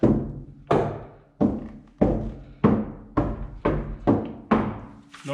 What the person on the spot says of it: No ringing, no tinny sound.